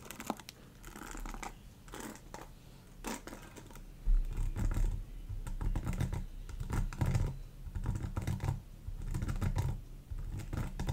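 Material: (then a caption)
Plastic. Long acrylic nails scratch and flick across the many thin plastic-tipped bristles of a black rectangular paddle hairbrush, which has a hollow plastic body and a rubber cushion and is held up close. The result is a dense stream of soft, rapid clicks and scratchy taps over a low, muffled rumble that swells and eases throughout.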